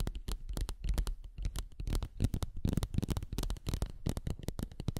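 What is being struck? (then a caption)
Silicone non-slip sheet. A translucent, thin and flexible textured silicone non-slip seal sheet is tapped and scratched with long nails and fingertips. The result is a dense run of short, dry taps and crackly scratches with soft, low-heavy thumps and bright clicky edges.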